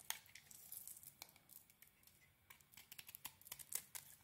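A solid rectangular bar of soap, cream inside with a pink metallic coating and heart print, is held in hand and scraped and shaved with a small metal blade, sending flakes falling. Quiet, crisp, crinkly scraping bursts come in quick succession, mostly high and bright with almost no low end, and each stroke stops short with no ring.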